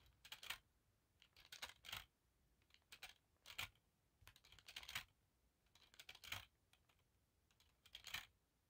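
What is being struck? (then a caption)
Thin metal wire hoop earrings. A bundle of thin silver-colored wire hoop earrings is held in one hand while long black nails tap and scratch the thin, non-hollow metal rings. Quiet, bright, dry clicks and light scraping come in about seven short clustered bursts, each click dying away almost instantly with very little low end.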